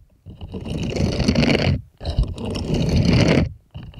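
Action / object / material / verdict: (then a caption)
scrape / silicone scrubbing glove / silicone / none. Plastic toy hands scrape and scratch over the nubby palm of a purple bristled silicone scrubbing glove that is held up. Two long, dense scraping passes with a low, rough rustle and bright bristly hiss are heard, separated by brief pauses. The start of a third pass follows at the end.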